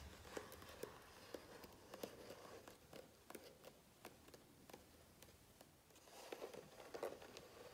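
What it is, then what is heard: Glossy book page, tapped and crinkled. Fingertips tap and rub near the edges of the glossy coated paper pages of a large open hardcover book, making soft, quick, irregular ticks with a faint mid-range tone. The paper crinkles as a page is lifted, adding a bright rustle over a quiet background.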